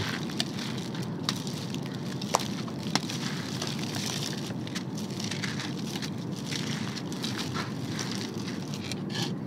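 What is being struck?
Sand-and-cement mix crushed by hand.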